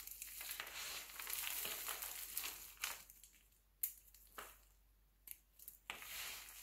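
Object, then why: Glycerin soap shavings. Fingertips pinch and crumble a pile of mixed-color glycerin soap shavings into smaller pieces. A dense, bright, dry crinkling and crackling fills the first few seconds, then thins into sparser sharp snaps and crunches with quiet gaps between them. The overall level is soft and high-pitched, with almost no low end.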